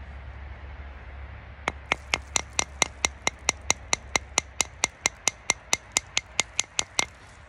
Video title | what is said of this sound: The fatwood Tutorial you haven’t seen | it's solid, you can hear it when you tap on it with a belt knife. Sounds very glassy.